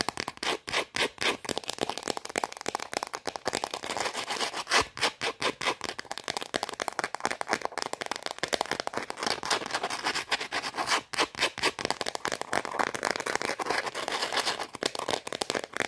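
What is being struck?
Round shortbread cookie.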